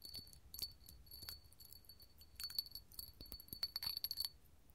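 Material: Glass.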